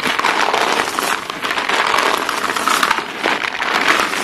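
A large pile of short, solid white chalk pieces on a blue surface is scooped up and squeezed between chalk-dusted bare hands and fingers. The pieces grind and crunch together in a dense, continuous, scratchy crackle that is bright and dry, with almost no low end.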